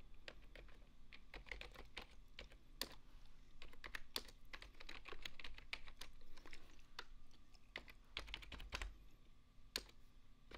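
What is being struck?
Plastic computer keyboard.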